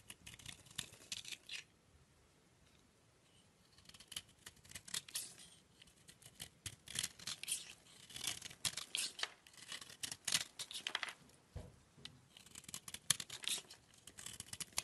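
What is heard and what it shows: A utility knife blade scrapes powdery layers off a solid oval peach-colored bar of soap held in the palm. Bright, crisp scraping strokes come in quick bursts, with a near-silent pause early on. The strokes grow denser and louder toward the end, with almost no low end.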